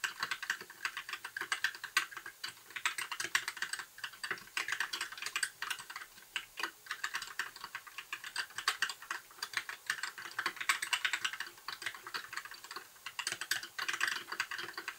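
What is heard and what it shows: Fingertips of both hands type continuously on a compact white mechanical keyboard with backlit plastic keycaps for the full fifteen seconds. The result is a steady, dense patter of short, dry clicks centered around 1.9 kHz, with bright top edges, no low end, and quick decay on each keystroke.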